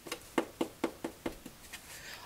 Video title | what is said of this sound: SUPER EASY Repair a HOLE in a HOLLOW CORE DOOR | it's nice and hard I've allowed it to dry overnight